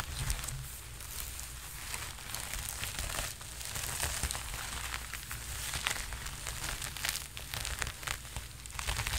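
Fingertips scratch and rub the sleeves of a worn red sequined jacket close to the microphone, producing a steady stream of bright, crinkly crackles and rustling scrapes. A low rumble runs underneath the dense, gritty texture throughout.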